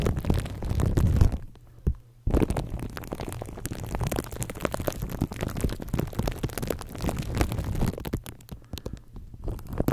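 Fingertips scratch and rub clear plastic cling wrap stretched over a microphone head while hands cup the mic. The result is a dense, muffled crackling and rustling dominated by deep, rumbling low end. It drops to near silence briefly around two seconds, then continues steadily, easing somewhat quieter near the end.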